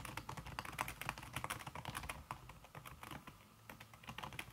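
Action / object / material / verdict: tap / keyboard with silicone-covered plastic keys / plastic / none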